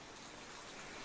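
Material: Nothing is struck.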